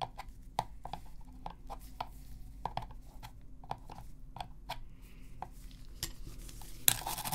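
A black hollow plastic PS3 controller, held in gloved hands, is brushed with a toothbrush near its top buttons. About a dozen short, dry, bright scratchy strokes and clicks sound over a steady low hum, with no ring after each one. A sharper, louder scrape comes near the end.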